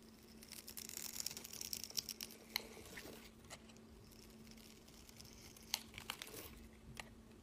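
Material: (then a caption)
Glycerin soap. A utility knife blade scores a palm-sized, solid translucent green glycerin soap bar, held in the hand, into a grid and scrapes off small cubes. Dense, crisp scratching and crackling fills the first three seconds, then thins to scattered sharp, high clicks and light scrapes over a faint steady low hum.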